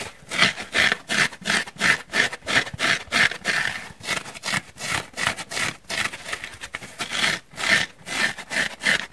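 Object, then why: Porous foam sponge. Short nails scratch rapidly across the surface of a solid, dry, porous pink foam sponge held in the hands. The result is a quick, uneven run of dry, rasping scratches, about three per second, bright and airy with a scratchy peak near 1.7 kHz, almost no low end, and no ring after each stroke.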